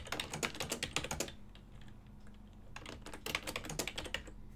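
Fingertips type continuously on a full-size ergonomic silver and black plastic desktop keyboard with hollow key switches. Rapid bursts of short, dry, bright plastic key clicks come in two runs, separated by a quieter pause over a steady low hum.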